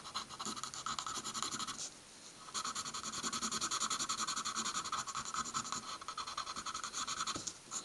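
A pencil tip scratches rapid short strokes across a stack of white paper sheets on a wooden table, filling in a small checkered pattern. The dry, bright scratching comes in quick, uneven bursts with a steady midrange tone near 1.1 kHz. It pauses briefly around two seconds in, then resumes just as busily to the end.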